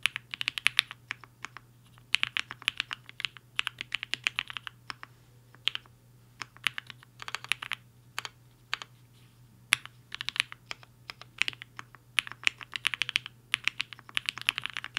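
A compact HI-FINGER 7.5 mechanical keyboard with a black case and white and pink plastic keycaps sits on a desk mat while the fingertips of both hands type fast on the keys. Bright, crisp clacks come in quick bursts separated by short pauses, each one dying away almost instantly. A faint, steady low hum sits underneath.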